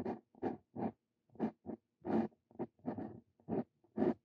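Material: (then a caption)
Paper. A steel Brause Cito Fein dip pen nib writes across a sheet of lined paper. It makes short, dry scratching strokes in quick bursts with brief pauses between them, mostly in the low-mid range with some brighter edges. About eleven separate strokes can be heard.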